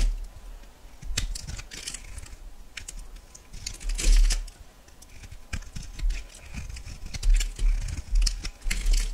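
A metal knife slices thin flakes from a solid yellow bar of soap, making crisp, bright scraping and cutting clicks with soft low thuds beneath.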